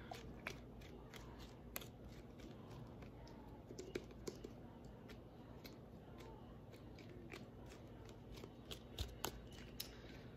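A tall, hand-sized clear plastic body mist bottle with a metallic cap, holding liquid, is tapped and gripped with fingernails. Sharp, quiet clicks and taps sound over a soft, steady low rustle throughout.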